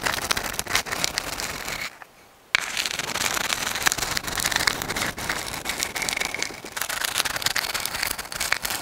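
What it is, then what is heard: Sand dollar shell. A dried white sand dollar, a palm-sized, thin, flat and hollow calcium carbonate skeleton, is held in both hands in front of a microphone and tapped and scratched with long acrylic nails. The result is a dense, bright stream of crisp clicks and scratchy crackles with a brief near-silent pause just before the three-second mark.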